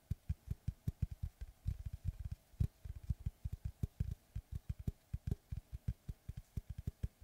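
Fingertips and short nails tap and scratch the cut face of a large, round, solid wood tree slice board with its bark edge on, held upright. A quick, uneven run of about thirty-four dull, low thuds sounds with no ring, while faint scratchy hiss fills the gaps between them.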